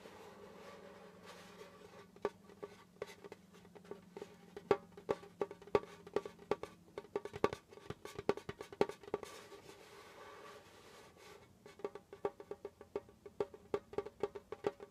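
Fingertips tap quickly on the pale skin head of a djembe held between the knees, and fingernails scratch across it. The result is a quiet run of short, dry taps with a mid-pitched drum tone over a soft scratchy hiss. The taps thin out briefly around the ten-second mark, then resume in a steady flurry.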